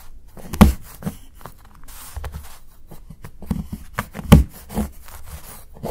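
A steel knife blade chops shavings off the edge of a solid dark chocolate bar held by fingertips. Dull, low knocks and short crunchy snaps come at uneven intervals, with the two strongest cuts near the start and past the middle. Each cut dies away quickly between faint scraping sounds.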